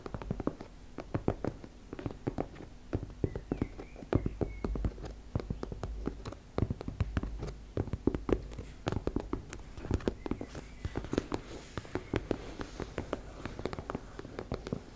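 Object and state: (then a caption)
Fabric cosmetic pouch. Long nails tap and scratch rapidly across a teal embossed-fabric makeup bag, making a dense stream of short, dull, low-heavy taps. The taps die away almost at once, with soft scratching underneath and little brightness.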